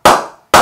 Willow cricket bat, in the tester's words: The sweet spot sounds really, really good.